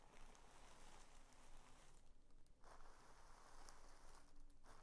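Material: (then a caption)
Paper. A folded sheet of mint green tissue paper is pressed and smoothed flat with both palms and fingers, giving soft, continuous crinkling and rustling over a low background rumble. The crinkling thins briefly around the two-second mark and again near four seconds before picking back up.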